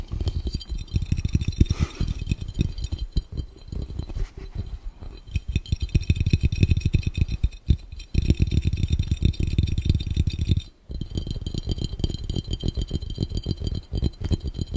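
A clear, round, hollow, empty glass fishbowl held over the lens is tapped rapidly with the fingertips of both hands. The result is a dense, continuous patter of short, dull, low thumps with only a faint bright glassy edge, briefly pausing near the eleven-second mark before resuming.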